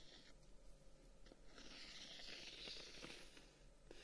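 Fingertips and short nails tap and scratch the dark wooden guard sticks of a closed, handheld folding fan. Soft, dry taps are heard, with a bright, hissing scratch building through the middle of the clip. Everything stays quiet over a low, steady hum.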